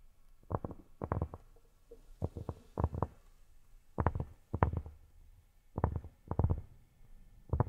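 Fingertips fitted with silicone rubber pads tap on cork. The taps are soft, dull and low, landing in quick clusters of two or three with short pauses between. Each tap stops almost instantly, with no ring.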